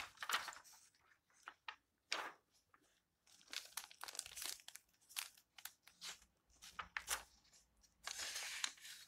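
A hand rubs the yellowed paper pages of an open old book and flips them over. The result is a series of soft, bright, dry crinkling and rustling bursts with short pauses and a longer sustained rustle near the end.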